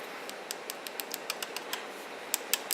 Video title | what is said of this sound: BR Bluerise Nail Dust Colllector Review | if you tap like this and you hear that tapping sound. If you don't hear a tapping sound, it's not dry